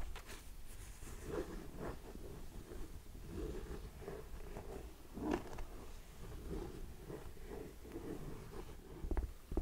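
Long nails scratch and tap across the suede upper and strap of an empty grey suede ankle boot held up in the air. The result is a soft, continuous, muffled rustle with low, dull taps and a few slightly sharper clicks near the end.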